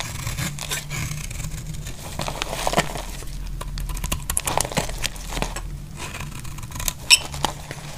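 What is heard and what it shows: A metal utility blade cuts and scrapes flakes off a dry, solid orange soap bar that is partly carved and held in hand. Crisp, dry scraping strokes and sharp ticking cuts come in quick succession over a steady low hum, with the brightest snap near the end.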